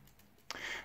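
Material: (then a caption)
Stainless steel. The pressed stainless steel links of a Casio LTP-V001 quartz watch bracelet are wiggled and shaken. After a near-silent start, one sharp metallic click gives way to a bright, thin, hollow jingle that lasts to the end. The hollow rattle shows the links are pressed metal rather than solid.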